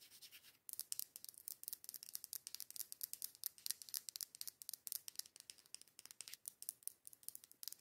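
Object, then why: Glass candle jar. Long acrylic nails tap and scratch the outer wall of a matte dark-green glass candle jar, its lid off and white wax visible inside. A brief soft scratching gives way to a fast, steady run of crisp, bright clicks and scrapes that die away almost instantly. The sound is quiet and high, with almost nothing in the low end.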